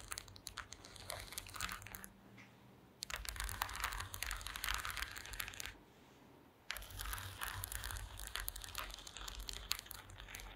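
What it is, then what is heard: Woven wooden slat mat. Long green acrylic nails tap and scratch across a woven wooden slat mat, making dense, bright crackling and scraping in three bursts. Two brief quiet pauses separate the bursts, with a faint low hum underneath throughout.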